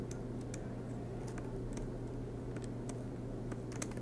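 Fingertips type continuously on the low-profile black plastic keys of a silver MacBook Pro laptop with an aluminium body, resting on a desk mat. Quick, light key taps click through a steady low hum with bright, short clicks.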